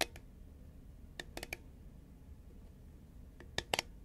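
Long nails tap and click on a hollow green Pringles composite cardboard tube, held at an angle and then upright. Sparse, sharp, bright clicks with almost no ring come in small clusters, one early, three together near the middle and a few close together at the end, over a quiet low background hiss.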